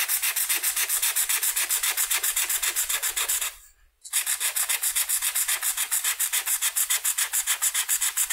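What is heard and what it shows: A red felt-tip marker colors a flat white paper coloring sheet with rapid back-and-forth strokes that scratch the paper surface. About fifty bright, raspy strokes come in a steady rhythm, with a brief pause partway through before the scratching resumes.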